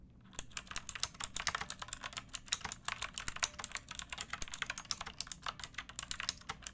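Fingertips with long painted nails type steadily on a pink backlit plastic mechanical keyboard with round typewriter-style keycaps and a hollow case. About 43 sharp, bright clicks and clacks come in a quick, even run, each dying away almost instantly, with little low end and a quiet overall level.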